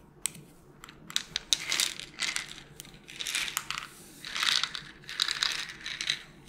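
Long nails tap on a small white plastic melatonin bottle with a purple cap, hollow with tablets inside, as it is moved around. Sharp, bright clicks come in irregular runs, mixed with longer hissy bursts of tablets rattling and shifting inside. Every sound dies away almost instantly, with no ring.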